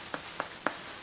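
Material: Bread.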